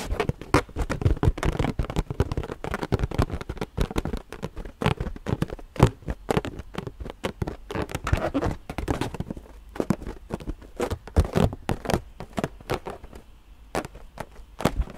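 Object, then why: Inflated latex balloon. A hollow, purple, inflated latex rubber balloon is tapped with long nails, held close to the mic. Quick, dry taps come in a fast, irregular stream, mostly deep, hollow thumps with brief bright clicks from the nails, each dying away almost at once.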